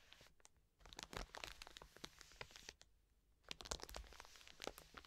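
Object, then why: Soft plastic wet wipes packet. Long nails scratch rapidly across the plastic film of a full, soft plastic wet wipes pack lying on a table. The result is a string of dry, bright crinkling and scratching bursts, with a brief quieter pause near the middle before the scratching picks up again.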